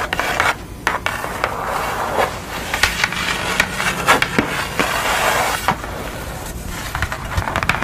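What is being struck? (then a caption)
Pastel drawing on brown kraft paper. Long nails scratch and tap across a pastel portrait with a blue face, drawn on flat brown kraft paper. A steady, dry, rasping scratch runs throughout, broken by sharp, brief taps.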